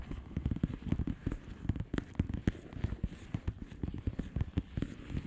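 Long polished fingernails tap and scratch a flat blue plastic bubble wrap envelope. Quick, irregular soft taps land with dull, low thuds, mixed with light crackly scratching. Each tap dies away almost at once, with no ring.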